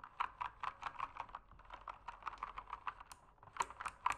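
Fingertips type steadily on an RGB mechanical keyboard with plastic keycaps, producing a quick run of about 22 short, crisp plastic clacks centered around 1 kHz with little low end. The taps are louder at the start and end and softer through the middle, and each one dies away almost instantly.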